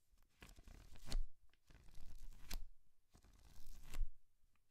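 A thick paperback book is held open in one hand while fingers and nails flip and rub its paper pages. Three quiet swells of dry, papery rustling build up, each ending in a sharp crisp slap as a page turns over.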